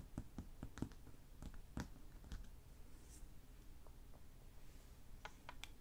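Fingertips and short nails tap and scratch on a large, bare, solid wood-grain table top, using both hands. Soft, dull, low-heavy taps come in an irregular scatter, mixed with faint, brief scratches. Each tap dies away almost instantly, and the sound is quiet throughout.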